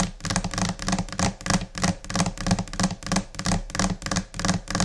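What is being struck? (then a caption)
Laminated particleboard desk top. Both hands tap a large, solid, flat white laminate desk top, likely laminated particleboard, with long orange-painted nails and fingertips in scattered, chaotic rhythms. Quick taps come in uneven bursts, each a dull low thud mixed with bright nail clicks that die away almost at once.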